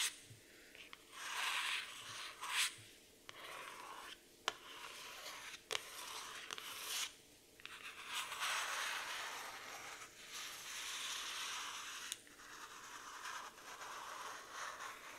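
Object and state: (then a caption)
Hardcover cardboard notebook. Long nails and fingertips slowly trace and scratch the printed cardboard cover of a black floral hardcover notebook resting on a wooden table. Bright, airy rubbing and scratching swells in long strokes, broken by a few sharp clicks.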